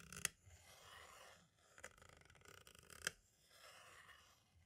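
A thin green-and-black striped tool tip traces and taps across the label and hub area of a hollow plastic compact cassette shell held still. Soft, bright scratchy tracing runs throughout, broken by two sharp clicky taps that stand out from the quiet scraping.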